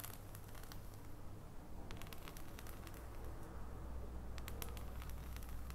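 Long painted nails tap an unwrapped solid dark chocolate bar held above its foil wrapper. Quiet, irregular bright clicks and soft crackles sound over a steady low hum at a fairly constant level.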